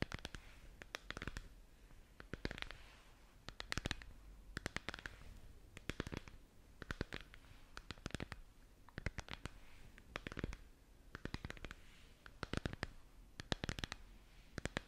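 Long nails quickly scratch and tap a hollow, glowing plastic moon lamp ball held in both hands. Rapid clusters of sharp, dry clicks and scratchy rasps come in bursts throughout, with a soft, hollow low undertone. The taps stop almost instantly and the overall level is quiet.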